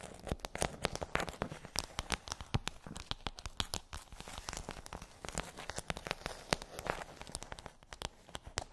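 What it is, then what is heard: Plastic bubble tray. Long nails tap quickly on the hollow dome bumps of a pink rigid plastic bubble tray. The result is a fast, uneven stream of sharp, dry clicks with a crinkly, crackling texture. Each tap is short with almost no ring, spreading from low thuds up to bright highs.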